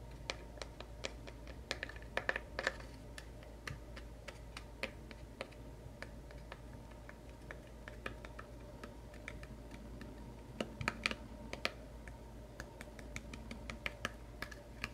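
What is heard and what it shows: Fingernails tap rapidly on the closed lid of a small, light, hollow wooden craft knife box with a metal clasp. The result is a quick, irregular stream of short, dry clicks with little ring, over a faint steady low hum.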